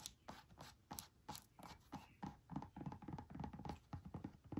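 A small, hollow, bright green silicone travel squeeze bottle with a white plastic cap, apparently empty, is held in the hand and tapped with long manicured nails. A quick, uneven run of soft, dull taps follows, each with a low thud and a brief brighter click that dies away almost at once.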